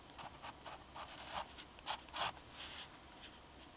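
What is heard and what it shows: A black fountain pen's metal nib scratches across a thin, flat sheet of drawing paper while drawing lines. The quiet, bright strokes come in short, dry bursts with a scratchy high hiss and little low end.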